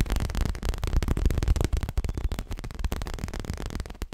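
Long fingernails of both hands tap fast on a soft, stuffed, dark grey leather-covered pillow. The result is a dense, irregular patter of dull, low thuds with brief flicks of brighter clicking and almost no ring.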